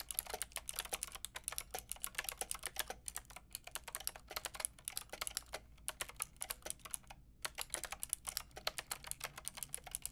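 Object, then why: Mechanical keyboard with round plastic keycaps. Long painted nails and fingertips type on a white-pink backlit mechanical keyboard with round plastic keycaps. The rapid, bright, clicky taps come in quick bursts with brief pauses around 3 and 7 seconds, each tap short and dry over a faint low hum.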